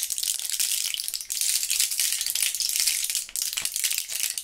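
A small clear plastic blister pack with foil backing, filled with purple Thrills gum pieces, is shaken in gloved hands so the pieces rattle inside their cells. The result is a dense, bright, continuous rattle with almost no low end, briefly dipping around 1.3 and 3.3 seconds before picking up again.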